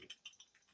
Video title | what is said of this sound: Zündspule: Original oder Nachbau? Simson & MZ | slyšíte, jak chrastí. Původní východoněmecká cívka nechrastí, ale tato nějak chrastí.